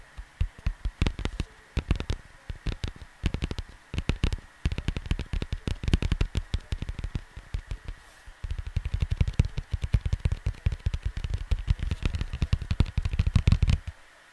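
Fingertips and nails tap rapidly on the cover of a flat cardboard vinyl LP sleeve lying on a desk, producing short, dull, low thumps with very little ring. A faint steady tone hums underneath throughout. After about eight and a half seconds the tapping becomes denser and louder until it stops just before the end.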